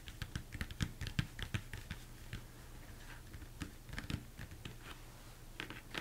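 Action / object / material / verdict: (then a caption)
tap / upside-down plastic mixing bowl / plastic / none. Fingertips and nails tap quickly on the top and sides of a large, hollow, empty plastic mixing bowl turned upside down. The soft, irregular taps give a low, hollow thump with brief bright clicking, and each dies away almost instantly. Dense bursts of tapping alternate with quieter stretches of lighter taps.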